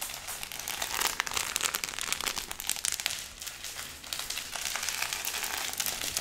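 A thick stack of paper banknotes bound with a yellow rubber band is held in both hands and squeezed and crinkled with the fingertips. A dense, continuous stream of dry, bright crinkling and crackling comes in soft waves, with almost no low end.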